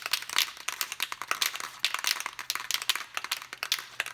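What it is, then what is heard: Spray paint can with freely rattling mixing ball. A can of Rust-Oleum 2X acrylic enamel primer spray paint is shaken so its mixing ball rattles freely, mixing the paint before spraying, after already being shaken for a while. The result is a rapid, steady series of sharp, bright metallic clicks with almost no low end.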